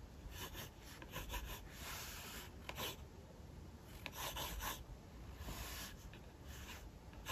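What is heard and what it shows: A mechanical pencil scratches sketch lines of a figure across a thin page of an open paper sketchbook resting on a hard desk. Quiet, bright, raspy strokes come in uneven bursts over a low, steady rumble.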